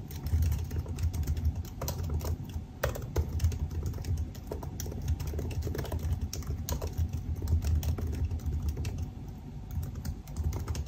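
Both hands type continuously with their fingertips on the black plastic keycaps of a silver aluminum laptop resting on a desk. Rapid, short key taps patter over a steady low rumble, with occasional brighter clicks standing out.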